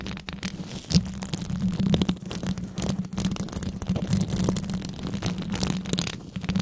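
Long red nails worn over white gloves scratch and tap the hollow metal mesh grille of a large microphone. Dense, rapid scratching and light ticking crackle through the high end over a steady low hum, with one sharper tap standing out near the start.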